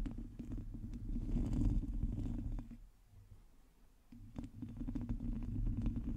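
Long nails on both hands scratch the sides of a black microphone's hollow, domed metal mesh grille. The result is a dense, low rumbling rasp with fast, uneven scratch ticks. The sound dips to a quieter pause around the middle, then resumes.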